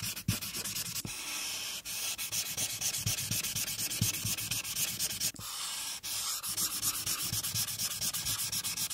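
A marker tip is rubbed back and forth along the right border of a flat paper coloring sheet resting on a clipboard, coloring it pink. The result is a steady, bright, scratchy rubbing made of quick, uneven strokes, broken by a few brief pauses as the marker lifts.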